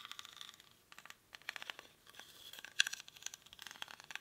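Fingernails scratch the weave of a small, hollow woven rattan or reed basket held in both hands, its contents not visible. The result is quiet, dry, bright rasping and crackling with quick ticking clicks, nearly all high in pitch with no low end, and one sharper click about two-thirds of the way through.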